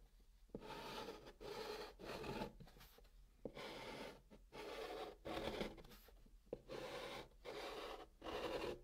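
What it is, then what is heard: Chalk drawing on cardboard. A hand draws blue chalk triangles on the flat top of a brown kraft cardboard box with scratching strokes. Raspy, gritty chalk scrapes come in bursts of about a second each, separated by short, uneven pauses, with the sound centered in the midrange and some brighter hiss.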